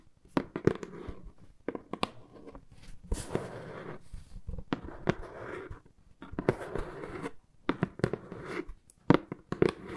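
A hollow brown corrugated cardboard box printed "AMY" is scratched and tapped with long nails and knuckles. Sharp, dry taps and clicks with almost no ring are scattered between stretches of soft scratching and rustling across the surface.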